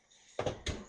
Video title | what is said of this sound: Honey Whole Wheat Bread - My Quest for Easy Homemade Bread | they sound hollow when you tap them